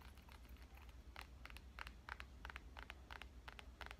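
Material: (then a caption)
Glass. Fingernail tips tap the glass screen of a black smartphone lying in one hand. Quick, light, bright clicks come in an uneven rhythm over a steady low hum.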